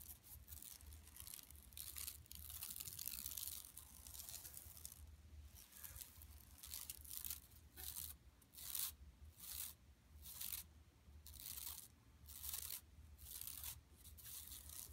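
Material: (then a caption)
Woven plastic. Both hands with long nails scratch and rub a large, flat, empty yellow woven plastic mesh tote lying on carpet. Dry, bright raspy scratching comes in near-continuous bursts at first, then settles into separate rhythmic strokes with brief pauses. A steady low hum runs underneath throughout.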